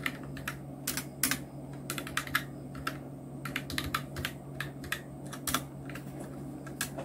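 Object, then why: Plastic mechanical keyboard. Fingertips of both hands type on a full-size black Nubwo Illution NK-70 mechanical keyboard with Outemu red switches, round plastic typewriter-style keycaps and blue backlight, resting on a white desk. Quick, bright plastic clacks come in an uneven typing rhythm, each one short and dry. A steady low hum runs underneath the whole time.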